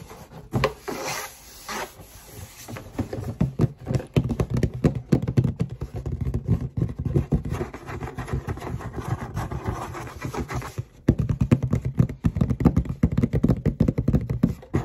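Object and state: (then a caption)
Cardboard shoebox. The side and bottom of a hollow black cardboard shoebox, held upright, are rubbed and scratched with fingertips and long nails. The sound is a dense, low, hollow rustling and scraping with quick overlapping strokes, broken by a brief pause near eleven seconds before it resumes slightly louder.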